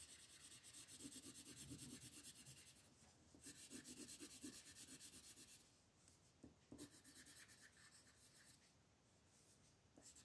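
A red wooden colored pencil shades a flat, thin paper coloring book page with quick back-and-forth rubbing strokes while fingertips hold the page. The strokes make a soft, bright, scratchy rasp in a steady rhythm of about three per second. The rasp grows quieter and lighter in the second half.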